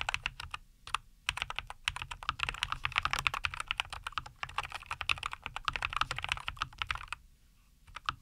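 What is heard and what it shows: A NuPhy Air75 V2, a compact 75% mechanical keyboard with a white case, green and white plastic keycaps, and linear Cowberry switches, sits on a wooden desk and is typed on continuously with the fingertips of both hands. It gives a rapid stream of short, crisp, bright clacks centred around 2.5 kHz with a light low thud beneath. The typing pauses briefly near the start and again near the end.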